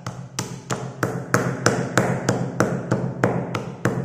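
A white pestle pounds down on pastel-coloured school chalk sticks in a grey, marble-like stone mortar, with an open cardboard chalk box beside it, crushing the solid chalk. Thirteen steady, dull knocks land at about one and a half per second, each a short, low thud with a brief bright crunch on top and a slightly gritty tail between strikes.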